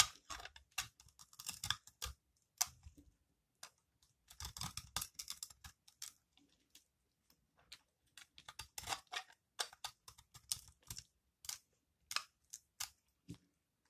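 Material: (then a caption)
Soap. A utility-knife blade scrapes a solid, green, dry recycled soap ball held in the hand, shaving off crumbly curls that fall onto the table. Irregular bursts of short, dry, crackling scrapes are heard, bright and hissy with little low end, separated by brief pauses.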